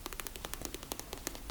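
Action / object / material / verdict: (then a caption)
tap / plastic travel bag / plastic / none. A small hot pink hard plastic travel bag, resting on a built-in shelf, is tapped quickly with fingertips. The result is a rapid run of short, dry plastic clicks with a bright crisp edge, each dying away almost instantly over a faint low background hum.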